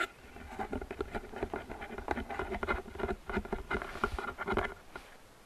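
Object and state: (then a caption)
Paperboard gift box. Long painted fingernails tap and scratch the sides and rim of a medium, hollow, open-top gift box made of printed paperboard with a flower pattern, which appears empty. A quick, irregular patter of dry, hollow clicks with very short decay carries a light papery resonance, mixed with soft scratching between the taps.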